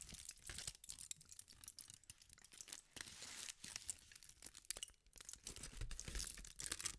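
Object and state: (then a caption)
Aluminum foil being crumpled. A thin sheet of aluminum foil is twisted and crumpled by fingertips with pink nails, giving a dense, continuous stream of bright, sharp crinkles and crackles. Soft low rustles run underneath. The sound stays steady and quiet throughout, with no ring after each crackle.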